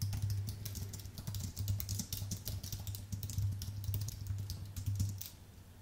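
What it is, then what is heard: Aluminium and plastic keyboard being typed on. Fingertips type steadily on a white Apple full-size keyboard with an aluminium base and plastic keys, making a rapid run of short, bright clicks with a quick fall-off. A steady low hum sits under the typing, which thins out near the end.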